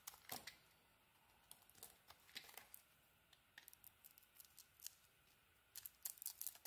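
A teal and cream bar of soap is cut with a blade, shavings curling off. Dry, crisp scraping and crackling bursts come in quick irregular clusters, bright and high with almost no low end, over a quiet background. The clip ends with a denser run of sharp cuts.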